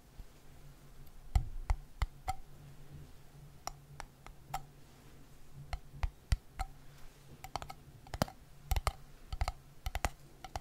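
Fingertips and nails tap and scratch the top of a red-and-white gingham-patterned metal screw lid on a small, empty-looking glass jam jar, held in the other hand beside the mic. Sharp, dry clicks with bright metallic tops land in irregular bursts, with soft scratching in between. A steady low hum runs underneath throughout.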